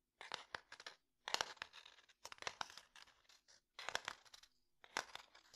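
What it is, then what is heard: Wooden domino box. Fingernails scratch and tap along the surface of a closed, light-wood domino box. Several bursts of crisp, bright scratching are punctuated by quick, sharp taps, with short silent gaps between them. The sound is dry and thin, with no low end and almost no ring after each tap.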